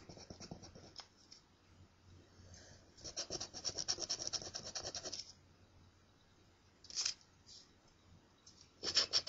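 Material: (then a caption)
Paper. A coin scratches and rubs the coating on a thin, flat, solid paper scratch-off lottery ticket. Quick, bright, gritty scraping strokes come in bursts, with the longest stretch in the middle, and are separated by quiet pauses over a faint low hum. Brief scrapes follow near the end.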